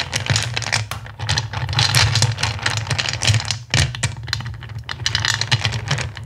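Fingertips rake and scratch through a black bowl full of small, solid, clear acrylic gems, producing a continuous dense clatter of bright clicks and rattles. A steady low hum sits underneath, with the rattling swelling and easing as the fingers move through the pile and one brief pause near the middle.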